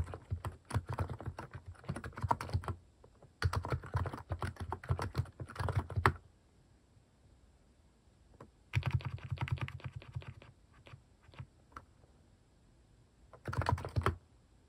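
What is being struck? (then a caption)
Mechanical keyboard with plastic keycaps. Fingertips type steadily on a plastic mechanical keyboard fitted with plastic cat keycaps. Four bursts of rapid clacking come with short quiet pauses between them. The taps carry a deep, thocky body with a bright click on top.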